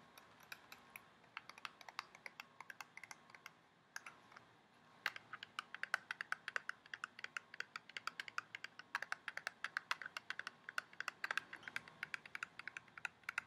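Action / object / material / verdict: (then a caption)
tap / small clear plastic box tapped with fingernails / plastic / none. Long painted nails tap rapidly on a small, hollow, clear plastic retail box of invisibobble hair spirals held in both hands. The taps are quick, dry and clicky, centred around 1.5 kHz with bright upper edges, and each dies almost instantly. The tapping runs in uneven bursts with a brief pause near four seconds, then grows denser and slightly louder for the rest of the clip.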